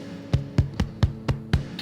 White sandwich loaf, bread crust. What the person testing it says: you know for sure that it's done when you tap the bottom and it sounds Hollow